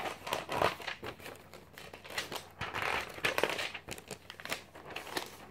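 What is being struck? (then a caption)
Glossy paper magazine. A thin glossy paper magazine of a few hundred pages is held in one hand while fingertips flick and turn its pages. The paper rustles and crinkles in a quick, irregular run of dry, bright crackles and riffles, with short swells of louder crumpling between quieter flicks.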